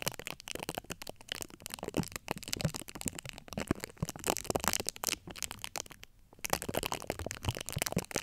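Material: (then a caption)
Steel mesh. Long acrylic nail tips scratch the domed, hollow steel-mesh grille of a large USB microphone. The sound is dense, crackly scratching with rapid clicks and rasps spread from low rumble to bright hiss. It runs almost continuously, with a short quieter gap about three-quarters of the way through.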